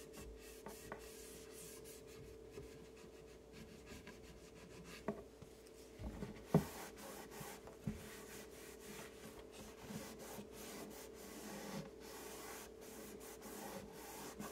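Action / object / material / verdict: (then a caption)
scrape / melamine-faced particleboard shelf rubbed with a terry cloth / melamine particleboard / none. A hand wipes and rubs an empty, solid, flat white melamine particleboard shelf inside a wall cabinet with a purple terry cloth. Quiet, steady rubbing and swishing fill the clip over a faint, constant low hum, broken by a few brief, light knocks near the middle.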